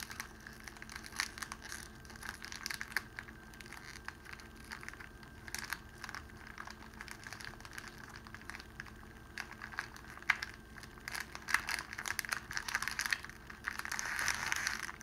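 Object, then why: Clear cellophane wrapping sheet. A crumpled sheet of clear cellophane wrapping is held in both hands while the fingers crush and crinkle it. The result is a steady stream of quiet, dry, bright crackles and sharp snaps, with the crinkling growing denser and louder toward the end.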